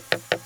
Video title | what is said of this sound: HOW TO PREPARE A BRONZE RESIN // THE LOST FOUNDRY | hear when there's a bit of casting that isn't strong enough